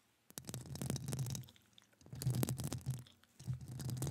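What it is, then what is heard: Metal mesh microphone grille. Long acrylic nails scratch and tap the hollow metal mesh grille of a studio microphone while the other, gloved hand is also at work. Three bursts of dense, scraping, crackling contact sound come in, each with a heavy low rumble underneath and bright clicky scratches on top, separated by brief near-silent pauses.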